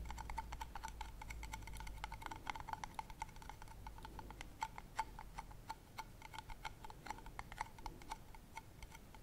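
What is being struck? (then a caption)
Metal screw lid on a glass candle jar. Long nails tap and scratch the silver metal screw lid and rim of a medium glass candle jar filled with solid lilac wax, in quick ticking strokes. Dense, bright, clicky taps with a ringing metallic tone near 890 Hz repeat rapidly throughout over a faint low rumble, sounding much like a ticking clock.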